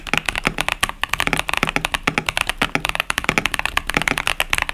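Continuous two-handed fingertip typing on a compact KBD67 Lite mechanical keyboard with a plastic case, cherry-profile keycaps and Boba U4T tactile switches. About 27 quick, dry keystrokes come through as bright, clacky taps centered around 2.3 kHz, each dying away almost instantly with very little low end.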